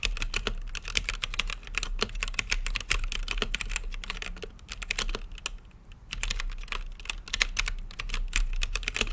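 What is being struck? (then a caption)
Plastic mechanical keyboard with acrylic case. Fingertips type continuously on a plastic mechanical keyboard with plastic keycaps set in a translucent acrylic case. Rapid, sharp, bright clacks follow one another in a dense, steady stream, each dying out instantly over a faint low hum. The typing briefly thins out near the six-second mark before resuming.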